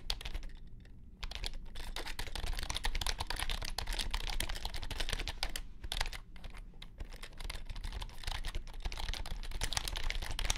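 Fingertips type quickly on a compact white plastic keyboard with low-profile keys. The result is a dense, continuous stream of short, bright clicks over a low hum, with brief pauses near the start and in the middle.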